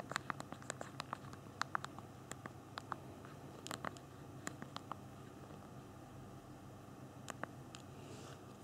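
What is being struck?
Small plastic phone keyboard keys.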